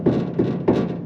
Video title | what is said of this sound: ABANDONED MUSTANG - PART 6 We Broke It.. Again? AGAIN? | that's really Hollow sounding and I definitely don't want to be driving down the road listening to that the entire time